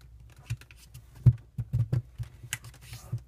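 A single thin, patterned green origami paper square is folded into a triangular unit, then creased and rubbed with fingertips while other folded units lie untouched nearby. About eight soft, dull taps and presses stand out over a quiet low rumble, with brief bright papery rustles and a faint crinkle near the end.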